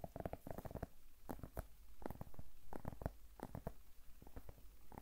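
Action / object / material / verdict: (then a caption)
tap / whole zucchini / vegetable / none. Long nails tap and scratch the skin of a large, solid whole zucchini held in one hand. The clip has quick, irregular, dull taps with very short decay, mixed with faint scratching. The taps sit mostly in the low range, with little bright content.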